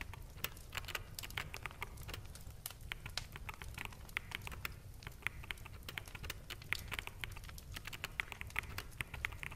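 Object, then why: Mechanical keyboard with plastic keycaps. Fingertips of both hands type on a full-size black mechanical keyboard with plastic keycaps. The result is a steady, quiet stream of rapid, sharp, bright clacks, each dying away almost at once, over a low background hum.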